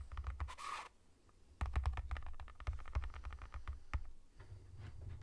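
Fingertips and nails tap the side of a sealed Pringles Roasted Red Pepper cardboard tube with a plastic lid, standing on a table or held in hand. Quick, soft taps with a hollow, low thud are heard, with a brief bright scratchy brush near the start. After a short quiet pause, the tapping continues in an uneven, rapid run.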